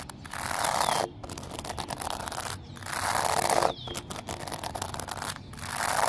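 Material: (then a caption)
Stone, concrete. Fingertips and nails tap and scratch a flat, solid exposed-aggregate pavement of small pebbles set in concrete, with a flower lying nearby. Dense, gritty scraping and crackling fills the clip in long rough strokes with a bright hiss, broken by brief pauses.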